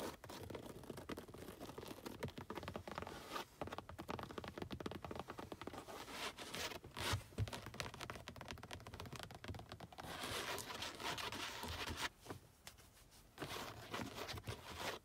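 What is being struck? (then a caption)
Padded perforated leather car seat. Long acrylic nails scratch and tap the textured surface of a padded, solid black perforated leather car seat cushion. The result is a dense, continuous run of quick, dry taps and raspy scratches with a bright, hissy top and a soft low thump beneath, easing briefly before picking up again near the end.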